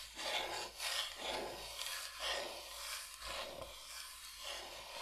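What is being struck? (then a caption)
Bamboo cutting board. Long nails scratch and rub across a large, flat, solid bamboo cutting board shaped like Michigan. The result is a steady, dry rasping in repeated strokes about once per second, bright and hissy with almost no low end.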